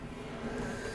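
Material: Nothing is struck.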